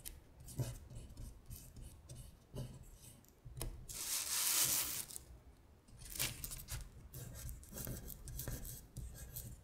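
A paper worksheet listing the months in Korean is slid across a glittery surface while long nails scratch and rub along the paper. The result is soft, dry, bright rasping and scratchy rubbing. There is a louder hissing sweep near the middle and repeated short scrapes throughout.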